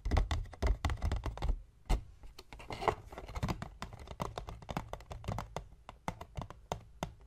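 Fingertips of both hands tap rapidly on the top of a hollow, medium white paperboard box lying on a wooden table. The taps are quick, dull, low thumps with almost no ring, coming in uneven bursts and flurries throughout.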